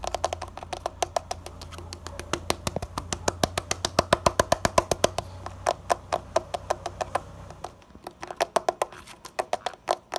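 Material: Concrete.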